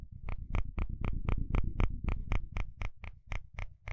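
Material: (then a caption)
Plastic. A wooden spatula scrapes across the fine teeth of a dark blue plastic comb in rapid, fairly steady repeated strokes, about four per second. Each stroke is a short, crisp, bright rasp with a deep, low rumbling underneath, and the sound dies away quickly between strokes.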